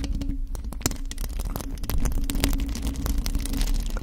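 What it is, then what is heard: Metal mesh microphone grille being scratched. Long acrylic nails on both hands scratch a hollow black metal mesh microphone grille, producing a dense stream of rapid, crackling scratches over a heavy low rumble. A steady hum near 273 Hz runs underneath, while many brief broadband clicks flash up into the high range.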